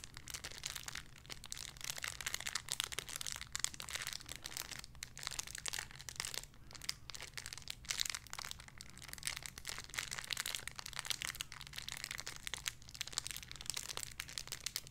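A small clear crinkly plastic bag holding a soft pink squishy toy is crinkled and squeezed with the fingertips. The result is a steady, dense stream of quiet, bright crinkles and crackles that stop dead with no ring, over a faint low hum throughout.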